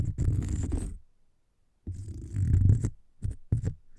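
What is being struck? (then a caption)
Cork coaster. A cork coaster is scratched, making a low, dull, rumbling scrape. Two long scratching passes are separated by a second of silence, followed by a couple of short scrapes near the end.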